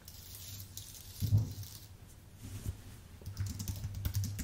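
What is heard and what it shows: Fingertips type on a white full-size Apple Magic Keyboard with plastic keycaps on an aluminium base. Soft, muffled key taps come in irregular bursts over a steady low hum, with a louder cluster near the middle and short, dry clicks that fade quickly.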